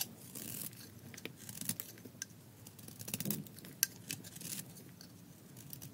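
A thin slab of tan dry soap is held in the fingers and scraped with a metal blade, peeling off curls. Quiet, dry, bright scraping and crackling comes in short bursts of hiss, with a few sharp ticks and a faint low body under it.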